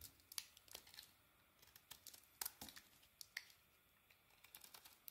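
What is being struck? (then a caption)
Bar of soap. A solid beige, palm-sized rectangular bar of soap, held in the hand, is shaved with a small metal carving blade as curls and flakes fall off. A quiet run of crisp, bright scraping and crinkling ticks is heard, each one short and dry with almost no low end. Soft scratchy rasps fill the gaps between them.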